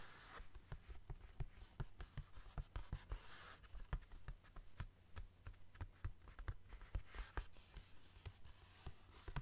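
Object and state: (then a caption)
Cardboard mailer envelope. A flat, medium-sized brown cardboard Amazon mailer, likely holding a book, is held upright and tapped and scratched with fingertips and short nails. About thirty quick, dry taps sound with no ring, mixed with soft scratching. A steady low hum sits underneath at a quiet level.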